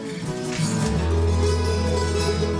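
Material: Nothing is struck.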